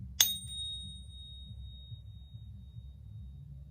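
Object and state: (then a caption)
Real silver coin. A 2016 American Silver Eagle coin is pinged once, giving a bright, high-pitched ring with a clear tone near 3.7 kHz that sustains for several seconds over a low background hum. The long, clean resonance marks it as a real silver coin.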